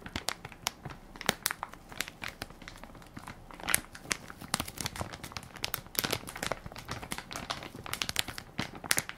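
A hand-sized Equate baby wipes soft pack made of crinkly plastic film, full of wipes, is held in one palm while fingertips and nails press and crinkle the film. Dense, bright crinkling and sharp crackles pop in quick, irregular bursts with very little low end. Each snap dies away almost instantly.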